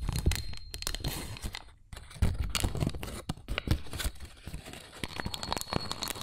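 A small, thin, pleated white paper cupcake liner, flattened and hollow, is held in both hands while the fingertips bend and crinkle it close to the microphone. Dense, crisp crinkling and crackling rustles come in irregular bursts, with a brief quieter gap near the two-second mark before the crinkling resumes.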